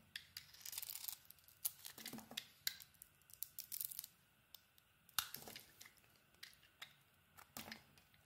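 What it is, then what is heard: Bar soap being carved. A metal snap-off blade slices thin layers off a solid, hand-sized pink bar of soap with an embossed logo, held in the hand. Bright, dry scraping and cutting strokes come in irregular bursts with short pauses between, each stopping sharply with no ring.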